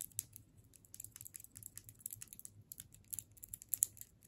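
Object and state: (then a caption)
Wrapped candy cane. A solid hard sugar candy cane in clear plastic wrap is tapped and scratched with long nails. Quiet, quick, crisp clicks mix with crinkly, bright scratching of the plastic, each tap short and dry with no ring.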